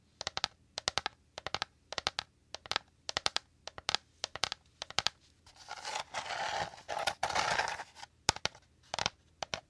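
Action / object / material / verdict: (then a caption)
tap / woven rattan bowl / rattan / none. A hollow, dome-shaped woven rattan bowl is tapped and scratched quickly with fingernails. It makes bursts of sharp, bright clicking taps, then a stretch of continuous dry scratching, then more quick taps. The taps are dry and die away at once, with no ring.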